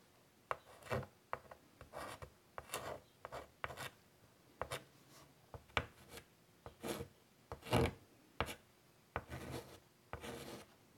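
White chalk is drawn across a large, flat, wood-framed chalkboard in quick, scratchy strokes to sketch a butterfly. The result is a series of short, dry scrapes and taps, some sharp and clicky, others longer and raspy with a bright, gritty hiss.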